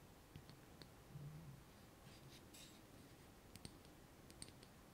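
Fingernails tap and scratch the walls of a small hollow clear glass jar with a metal lid, full of orbeez water beads and held in the hands. Sharp, bright clicks and short scratching rasps sound quietly over a soft low rumble, each tap dying away quickly.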